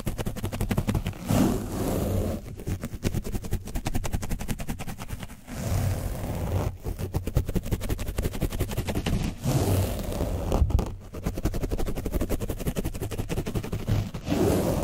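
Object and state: Paint-coated foam mic windscreen being scratched.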